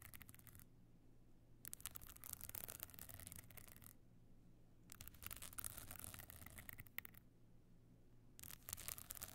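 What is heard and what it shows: Long nails scratch across the small glued stone chips covering a closed, rigid box clutch lying flat. Four bursts of bright, crackly scratching are separated by quiet pauses, over a steady low hum.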